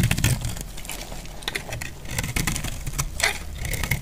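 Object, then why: Bar of soap shaved with a metal blade. A metal utility blade shaves along the edge of a solid, dry, off-white bar of soap. Repeated crisp, crackly scraping bursts with bright, high edges ring out over a steady low rumble.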